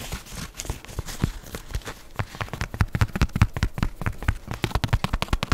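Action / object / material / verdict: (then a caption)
tap / canvas fabric espadrille shoe / canvas / none. Long fingernails scratch and tap the fabric and sole of a leopard-print canvas espadrille shoe held sole-up in one hand. The result is a quick, uneven run of short, dull taps mixed with dry scratching crackle.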